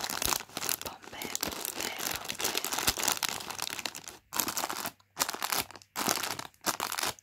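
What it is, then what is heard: Plastic crisp packet crinkled. A hand and fingertips press, crinkle and rub a small sealed Pom-Bear crisp bag made of crinkly plastic film and full of snacks. Bright, dense crinkling runs steadily for about four seconds. It then breaks into separate bursts of rustling with short silences between them.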